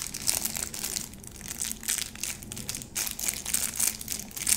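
Long nails scratch across the face and edge of a small round soap bar held in the hands, crinkling its pleated white plastic wrap. The result is a steady stream of bright, dry crinkling and scratching bursts with little low end and almost no ring after each stroke.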